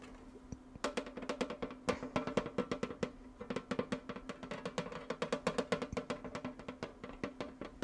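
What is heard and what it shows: A small Wicked-themed metal tin with munchkins on it is tapped in quick, uneven bursts. The taps are short, bright clicks with a faint ring around a tonal center near 480 Hz, and they cluster in rapid runs with brief pauses between them.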